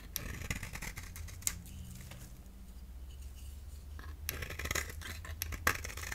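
A solid cream-core bar of soap held in the hand is shaved with a box-cutter blade, peeling off powdery curls. Crisp, bright scraping strokes and sharp clicks come in bursts over a steady low hum, with a quieter stretch in the middle before the shaving picks up again.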